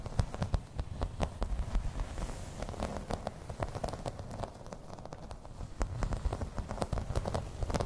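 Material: Plastic.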